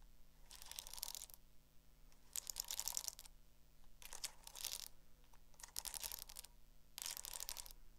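Long acrylic nails tap and scratch the cover and metal spiral of a small black hardcover spiral notebook. Five bursts of quick, dry clicking and scraping stand apart, each a rapid flurry of bright, high ticks with a low steady hum underneath.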